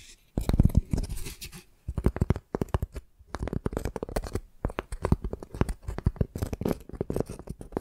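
Long dark nails scratch and tap the rough, cracked outer side of a flat piece of tree bark held in both hands. Quick, dry scratching and tapping comes in dense bursts, heavy in the low range, with brief pauses before starting again.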